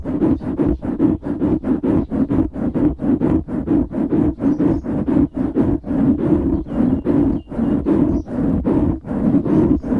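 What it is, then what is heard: Foam microphone windscreen being scratched. Fingertips scratch the sides of a black foam windscreen on a microphone, making a rapid series of rough, muffled rubbing bursts at about two per second. The scratches are full and low-mid heavy, centered around 300 Hz with little bright content, and each one stops short with no ring.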